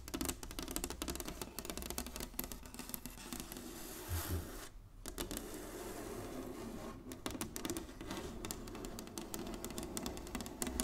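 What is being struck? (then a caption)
Inlaid wooden chessboard. Long nails of both hands tap rapidly across a solid, flat inlaid wooden chessboard. The result is a dense stream of short, bright clicks with almost no ring, over a steady low hum, with a brief quiet gap around the middle.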